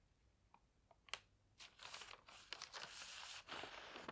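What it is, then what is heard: Newspaper pages being rubbed and turned. An open paper newspaper lies on a bed while fingertips rub the pages flat, then lift and turn a page. A few faint, sharp taps and crinkles give way after about a second and a half to sustained, bright papery rustling and crumpling. The sound is mostly high and crisp, with almost no low end.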